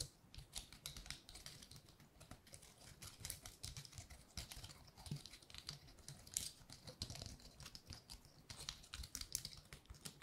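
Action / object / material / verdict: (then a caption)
scrape / painted pine cone / wood / none. Long nails flick and scratch across the woody scales of a large, dry pine cone painted gold. A steady stream of quick, bright clicks and dry scratches runs for about ten seconds, each tick short and crisp with almost no ring, over a faint low rumble.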